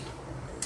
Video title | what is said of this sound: Art Supplies for making manga / comics | it's like thicker paper it kind of sounds like cardboard